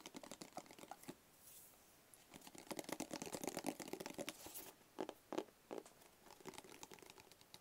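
Long fingernails tap rapidly on a small, hollow black cardboard gift box with a barcode sticker, held close. The result is quick, irregular bursts of dry, clicky taps with a hollow midrange body and bright edges, dying away almost instantly. A brief lull comes early on, and a few louder knocks stand out later.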